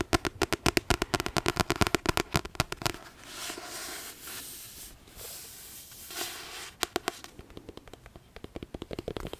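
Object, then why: Paperback book, card cover over paper pages. A paperback copy of Harry Potter and the Philosopher's Stone, with a card cover over solid paper pages, is held up and tapped and scratched with long painted nails. Quick, crisp tapping runs for about three seconds, followed by a softer, hissing scratch across the cover. The clip ends with another run of sharp, dry taps.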